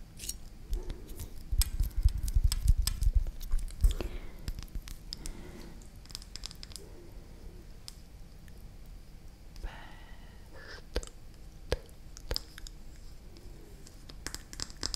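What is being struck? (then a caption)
Small glass jar with plastic lid. Long acrylic nails tap and scratch a small, full glass Barilla pesto jar with a blue plastic lid. A dense, busy run of clicking and scratching fills the first four seconds, then thins to quieter scattered taps and brief scrapes. The taps are short and dry, with a low thud under sharp, bright clicks.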